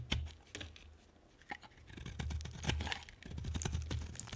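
A metal knife blade carves and scrapes a solid oval yellow bar soap, cutting shavings and cubes from its surface. Short crisp scraping and cutting strokes come in quick bursts over a low steady hum. Some strokes are sharp and bright, and others are softer and more grainy.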